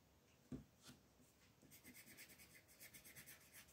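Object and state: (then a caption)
Colored pencil shading on a paper page. A pink colored pencil is rubbed back and forth over a flat sheet of white paper printed with a floral design, shading the petals while a hand with long nails steadies the sheet. A soft, low tap opens the clip, followed by a quiet pause and then a steady run of quick, bright, scratchy strokes.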